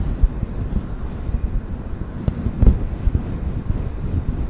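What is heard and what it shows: Fingertips and nails brush and rub a fluffy grey-white faux fur windscreen that sits soft and hollow over the capsule of a black desktop microphone. The result is a deep, muffled, wind-like rumble with almost no high end, broken by a few louder soft thumps where the fur presses against the mic.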